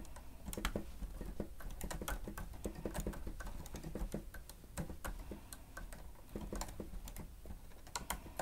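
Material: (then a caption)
Plastic. Fingertips of both hands press and tap the keys of a grey plastic stenotype keyboard with a hollow housing, typing steadily. The result is a quick, continuous patter of short, dry clicks over a soft, hollow low thump, with occasional brighter key snaps.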